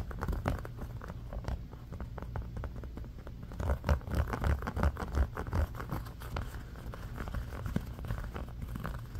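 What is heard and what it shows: A round, red, ribbed silicone trivet mat, thin and flexible and partly lifted on a blanket, is scratched with the fingernails of both hands. The result is a fast, uneven patter of dull, low-heavy scratches with almost no brightness and very short decay, growing louder and busier from about 3.5 to 6 seconds before settling back.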